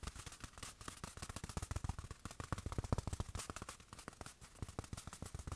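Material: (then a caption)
Fabric. Fingertips tap rapidly on a small padded black fabric watch cushion held in the hand. The result is a quiet, uneven patter of soft, dull, low thumps that stop dead with no ring, over a faint bright fabric hiss.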